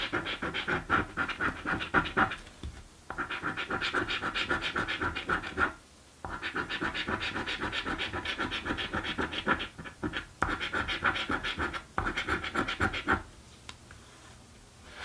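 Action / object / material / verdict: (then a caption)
scrape / paper scratch-off lottery ticket scratched with a coin / coated cardboard / none. A coin scratches across a thin, flat blue cardboard birthday scratch-off lottery ticket, producing rapid, dry, gritty strokes with a bright, papery rasp. The scratching comes in several sustained runs separated by brief pauses, then thins out and fades to quiet near the end.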